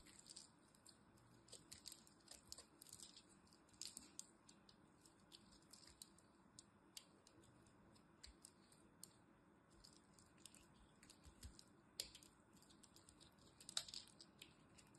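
A small metal blade carves chunks out of a dried white bar of soap held in the hand. Quiet, crunchy scraping comes with a steady stream of short, bright, crisp clicks and crackles, with a few louder snaps standing out.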